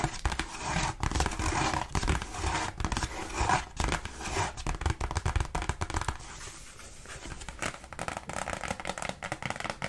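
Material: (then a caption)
Cardstock. Long pink nails tap fast and unevenly across the front of a thin, glossy cardstock Christmas card reading "For All of You," held in both hands. The result is a dense stream of short, dry clicks with a crinkly, scratchy edge, easing into a softer, quieter stretch midway before picking up again as the card is held closer near the end.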